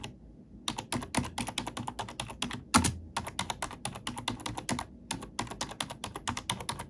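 An index fingertip with a long nail taps and types on the black plastic keycaps of a computer keyboard. After a brief quiet start, a steady run of sharp, bright clicks follows, each with a soft low thud underneath. One heavier keystroke near the middle stands out louder than the rest.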